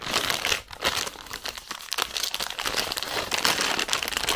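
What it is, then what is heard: Plastic sweets bag, crinkled. A full, red printed plastic film bag of zefir marshmallow sweets is crinkled and squeezed with fingertips and long nails. The result is a steady stream of dense, bright crinkling and crackling with almost no low end, swelling in brief louder bursts.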